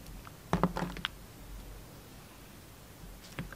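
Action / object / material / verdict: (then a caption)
scrape / soap bar cut with a knife blade / soap / none. A utility knife blade trims the edges of a solid black-and-white striped bar of soap held in the hand. A quick cluster of short, crisp cutting and scraping scrapes comes first, then a quiet pause, then a final slice near the end. The cuts are dry and close with little ring.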